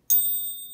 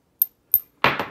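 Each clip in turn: First: genuine gold coin with a proper ring. Second: non-gold metal disc with no ping.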